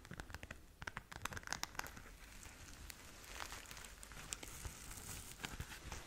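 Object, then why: Glitter-covered fabric pouch. A flat pink glitter-covered zip pouch, held in both hands, is scratched with long nails across its glitter surface. Quick, sharp crackling scratches come first, then a steadier, bright, rough rasp as the nails keep dragging over the glitter. The scratching stays quiet throughout.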